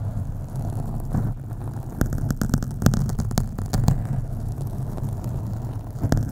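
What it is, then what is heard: Foam microphone windscreen being scratched. Long acrylic nails on both hands scratch a black foam windscreen on a USB microphone. The sound is a dense, low, rumbling scrape with a steady muffled hum, broken by sharp bright clicks and ticks where the nails catch.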